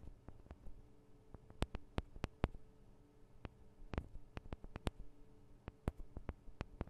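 Long nails tap on the sides of the small metal microphone capsules of a Tascam DR-40 recorder, making about twenty sharp, quiet clicks and ticks at an uneven pace. Each tap is a brief, bright transient that dies away almost instantly over a soft, steady low hum.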